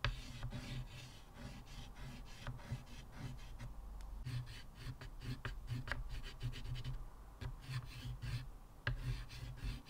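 Fingers holding a stick of blue chalk scratch and rub strokes across a square black chalkboard, flat and solid in a thin wooden frame, lying on a table with a wave drawing already on it. Short, dry, scratchy strokes with bright high edges come in quick irregular bursts over a steady low hum. The strokes stop abruptly with almost no ring.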